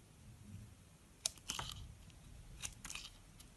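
A small metal blade scrapes and carves into the top surface of a solid white oval soap bar held in the palm. About six short, crisp, bright scraping cuts stand out over a quiet low background hum, each ending almost at once.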